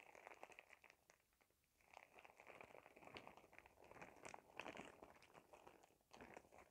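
A clear, glittery plastic shower cap, bunched up small, is crinkled with fingertips close by. It makes a dense, bright crinkling and crackling with many quick snaps, briefly quieting for about a second before picking up again.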